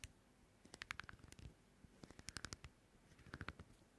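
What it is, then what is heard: Pumice foot scrubber. Fingertips scratch and rub the rough face and edge of a small oval pumice foot scrubber with a porous green-white surface and a white rim. Quiet, dry bursts of short, sharp clicks and scratches come in three clusters, with bright, brittle tones around 1.6 kHz. Each tap dies away instantly, leaving soft low rustle between clusters.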